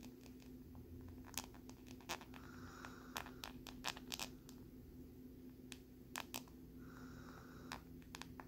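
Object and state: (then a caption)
Plastic lenticular card scratched with a needle. A metal needle scratches across the ridged surface of a thin, flat plastic lenticular card with a butterfly print. Sharp, bright ticks and clicks are scattered irregularly through the clip, with two longer raspy scraping passes. A steady low hum sits underneath, and the overall level stays quiet.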